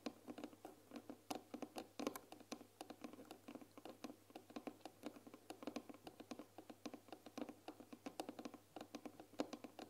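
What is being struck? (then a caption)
Painted wooden box. Long nails scratch and tap the wooden side panels of a closed, medium-sized white painted wooden tea box with a glass lid, filled with tea bags. The result is a quiet, steady stream of rapid, dry, short clicks and light scratches with a woody midrange tone, over a faint constant low hum.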